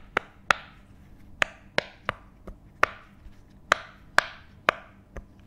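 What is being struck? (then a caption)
Silicone pop it fidget toy. A hand-sized rainbow silicone pop it fidget toy with thin hollow bubbles is held in both hands close to the mic and tapped and scratched with the fingertips. Nine sharp, hollow, woodblock-like taps are heard, with two softer ones between them, each bright and dying away almost at once over a quiet background.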